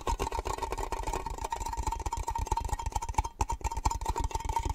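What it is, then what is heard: Metal cake-slice tin. A small, hollow, triangular metal cake-slice tin, open and empty, is held in the hands and tapped rapidly with the fingernails on its lid and sides. The quick, dense taps make low, hollow knocks over a steady metallic ring near 1 kHz, with short, dry clicks and no pauses.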